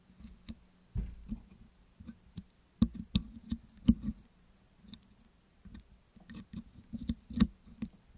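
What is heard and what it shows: A metal pick hook scratches and picks along the hollow metal wire-mesh grille of a Blue Yeti microphone covered with green putty. The result is a series of short, dry, low clicks and taps with faint bright scraping, separated by brief quiet gaps and fading almost instantly.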